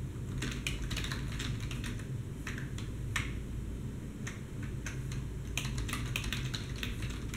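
Two hands type with their fingertips on a black plastic desktop keyboard, producing a steady run of crisp, bright key clicks in irregular bursts. A constant low hum sits underneath the typing throughout.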